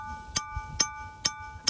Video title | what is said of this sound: Making Rocks Sound Like Bells At Ringing Rocks Park In Pottsgrove Pennsylvania - Roadside Attraction | that's a good sounding one